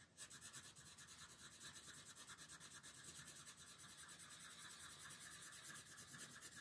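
A red wooden colored pencil shades a dinosaur's legs on a thin paper coloring page resting on a table, using repeated rubbing strokes. The sound is a quiet, steady, bright scratchy rasp that pulses with each back-and-forth stroke, about two per second, with little low-end body.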